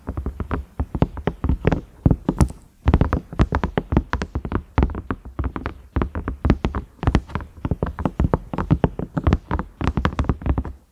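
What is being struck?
Silicone microwave lid.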